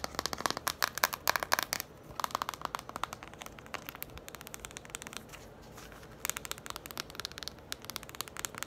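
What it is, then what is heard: Cardboard board book tapped and scratched. Long nails tap and scratch the cover and spine of a yellow cardboard children's board book. Fast runs of dry, bright clicks come first, then fade into a softer stretch of quieter tapping and scratching before quick sharp taps pick up again. Each tap is crisp and dies away almost instantly, with little low end.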